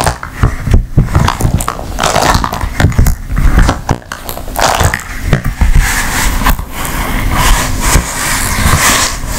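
An empty blue silicone ice cube tray, folded and laid flat, has its smooth back squeezed, rubbed and tapped with long nails. The result is a busy stream of soft, low thuds and rubbery squeaks mixed with brief bright scratchy rubbing, with no pauses.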